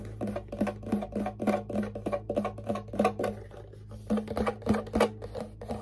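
A small hollow wooden ukulele held in the lap has its body tapped rapidly and unevenly with fingertips and nails, producing short, hollow knocks with a woody tone around 210 Hz that die away quickly. The tapping pauses briefly near the middle before resuming, over a faint steady low hum.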